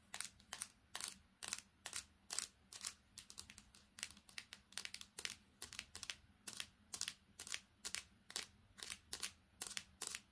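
A small handheld smartphone with a silver metal back and glass screen is tapped and scratched quickly with long painted fingernails on the back and screen. The result is a rapid, irregular stream of short, dry, bright clicks and scrapes with almost no ring, over a faint low hum.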